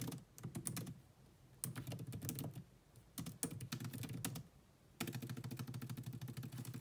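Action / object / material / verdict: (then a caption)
tap / plastic laptop keyboard / plastic / none. Fast two-handed typing with long nails and fingertips on a grey laptop keyboard with black plastic keys in a metal-look chassis. Short, dry taps with bright clicks and a soft low thud come in four quick bursts separated by brief pauses, and the last burst runs to the end.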